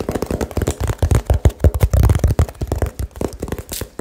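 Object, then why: Small cardboard box. Fingertips tap fast and aggressively on a small hollow cardboard box held over the mic, about 21 quick taps in a rapid, uneven run. Each tap is a short, deep, muffled thud that dies away almost at once, with very little bright content.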